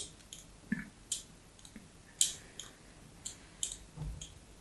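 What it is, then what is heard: Bar of soap being scored. A small metal blade scores diagonal lines into a small, solid white bar of soap with an embossed logo, held in a hand with long yellow nails. Eight quiet, crisp scraping strokes sound bright and dry, each ending quickly.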